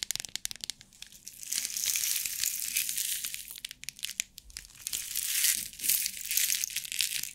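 A clear plastic compartment box filled with rhinestones is shaken, then long nails tap and scratch its lid. Sharp, bright clicks alternate with dense, hissy rattling of the stones against the plastic. Nearly all the sound is high-pitched, with very little low end.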